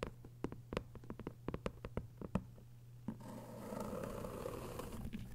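Long white nails tap quickly on a thick hardcover novel with a paper dust jacket lying flat, giving a rapid series of short, crisp clicks over a steady low hum. After about three seconds the taps give way to a continuous soft, scratchy rustle that lasts to the end.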